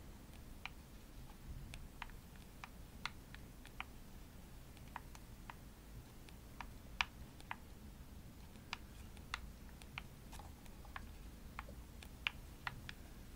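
Long nails tap the hollow shell of a pink glossy plastic Xbox controller. Irregular, sharp, bright clicks die away almost instantly over a quiet, steady low rumble.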